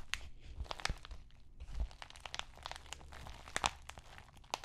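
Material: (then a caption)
Plastic. Fingertips and nails scratch and crinkle the plastic surface of an empty white padded bubble mailer. Soft, continuous crinkling and scratching is broken by brief, bright crackles and ticks over a faint low rumble, at a quiet, close level.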